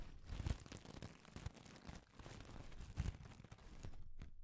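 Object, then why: Loose wooden pencil shavings. Fingers with long decorated nails crinkle and rummage through a loose pile of thin, dry wooden pencil shavings with a rubbing action. A quiet, continuous crinkly rustle is heard, with soft low thumps near the start and again around three seconds in.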